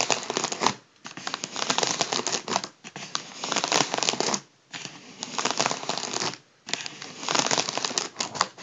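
Fingertips tap and crinkle the foil surface of a hollow, partly inflated gold mylar foil balloon. Bright, dense crackling and rustling come in bursts separated by brief quiet pauses, with almost no low end.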